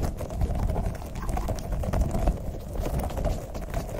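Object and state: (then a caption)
Rubber spiky squeeze ball. A small, soft green rubber spiky toy ball of the puffer-ball type is held in both hands right in front of the microphone while fingertips squeeze it and rub and press its spikes. The result is a steady, close, muffled stream of squishy rubbery rubbing and soft crackly presses, deep and bass-heavy with almost no bright top end.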